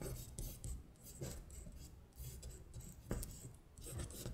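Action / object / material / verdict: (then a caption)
scrape / printed paper sheet on a hard surface / paper / none. Long stiletto acrylic nails trace the printed words on a thin paper worksheet of Korean months lying flat on a glittery surface. Soft rasping scratches and rubbing strokes come in repeated bursts with bright, hissy edges over a low, dull underlayer, and one sharper scratch stands out near the end.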